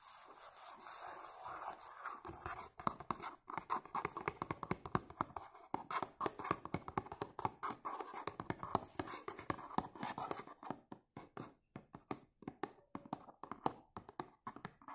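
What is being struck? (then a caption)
Cardboard perfume box. Short nails and fingertips tap and scratch the front face of a dark blue textured cardboard perfume box held in one hand. A soft scratchy rustle opens the clip, then rapid, dry, mid-pitched taps follow in quick irregular bursts, each dying away almost instantly. The clicking turns sparser and more spaced out toward the end.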